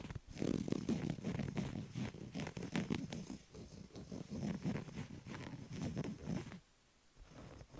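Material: Textile.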